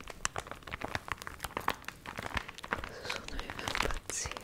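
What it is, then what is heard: Crinkled, water-wrinkled paper booklet. A small, dried, water-wrinkled paper recipe booklet is squeezed, bent and crinkled with fingernails close to the microphone. Dense, crisp crackles and snaps give way to a steadier, louder rustling near the end.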